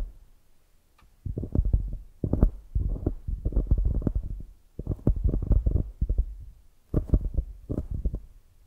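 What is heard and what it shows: Long grey nails tap and scratch the glazed top of a solid polyurethane foam squishy donut and press into the foam. This makes muffled, low, thumping clusters of quick soft taps in several bursts, with almost no bright content, separated by near-silent pauses.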